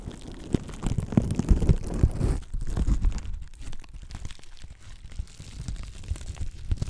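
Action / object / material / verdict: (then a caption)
scrape / plastic bubble wrap sheet / plastic / none. A clear plastic bubble wrap sheet is crumpled, scratched and popped with long black nails. Dense, irregular crunching and crinkling comes with sharp little pops, loudest and busiest in the first couple of seconds. It then settles into softer, sparser scratching and crackling.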